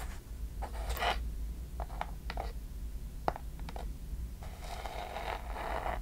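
A small hollow wooden chest box with metal clasps is held close and tapped and scratched with long nails. Short scratching bursts with a bright edge alternate with a sharp tap near the middle, ending in a longer stretch of scraping over a steady low hum.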